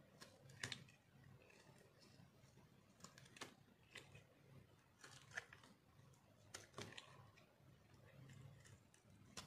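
A metal knife scrapes and shaves the face of a solid, round, pink dry soap bar held in the palm. Quiet, dry scratching runs throughout, broken by short, crisp, bright crunches that die away almost instantly, over a faint low hum.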